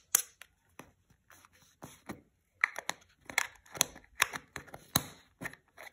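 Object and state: Plastic cosmetic jar.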